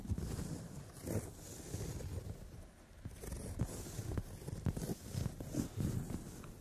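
Long nails tap and rub softly on a brown leather padded sofa seat. The sound is a low, muffled mix of soft scratching and dull taps with quick, short-lived peaks and little bright content.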